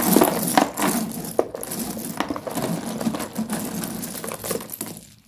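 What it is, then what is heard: Broken slate pencil pieces. Bare fingertips rummage through, scoop and squeeze a large pile of small broken white slate pencil sticks, solid stone pieces a few centimeters long, in a shallow cardboard tray. The pieces clink and crunch against each other in a steady, irregular stream of bright clicks and gritty crumbling. The sound fades out near the end.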